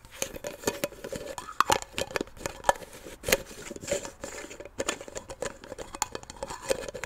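A small, hollow blue Nivea cream jar made of plastic is held in one hand while fingertips and long nails twist and tap its silver metal screw lid, opening and closing it. The result is a quick, irregular run of light clicks, taps and scraping twists with a faint ringing tone around 570 Hz. Each sound is brief and quiet and dies away almost at once.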